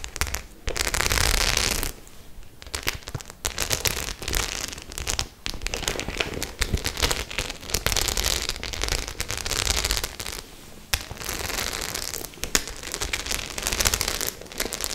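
Long nails scratch over the studded face of a white faux-leather clutch bag with metal studs. The result is a dense, bright, crackling scrape that comes in sustained bursts separated by brief quieter gaps, with rapid clicks as the nails catch on the studs.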